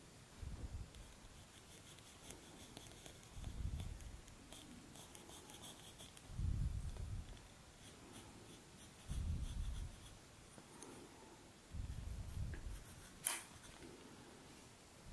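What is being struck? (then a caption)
Colored pencil on a sheet of drawing paper. A blue-barrel colored pencil makes short strokes on a flat sheet of drawing paper, scratching and shading around the eye of a colored-pencil portrait. Soft, low scratchy rubs come in repeated bursts with quiet pauses between, and faint bright ticks from the pencil tip.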